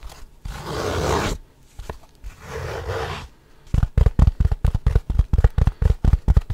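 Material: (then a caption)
Wood. A small, light, hollow wooden gift box with a dark insert is held up and scratched and tapped on its sides with fingernails and fingertips in quick bursts. Two long, rough scratching strokes are followed by a fast, uneven run of 21 short, dull, low, hollow taps that stop dead with no ring.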